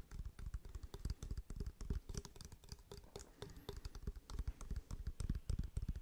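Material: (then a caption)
Wood. A wooden object is tapped with the fingertips in a quick, uneven flurry of dull, short taps. Each tap is a brief, low, muffled knock with almost no ring.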